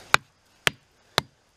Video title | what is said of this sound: It's Dead, Is It Dangerous? | doesn't sound too hard but the trouble is younger bark is already loose